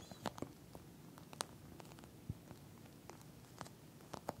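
Long nails on both hands rapidly tap and scratch a pink flat eye mask with a clear plastic shell filled with small gel beads. Quiet, sharp clicks with a bright edge sound over a soft, low rustling bed, with no ringing between the taps.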